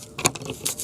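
Carbonized, mineral-painted wooden eggs are dropped, producing a few bright, brittle clinks and clatters with sharp high-frequency ticks and almost no ring. They are very brittle, the consistency wanted for biochar production.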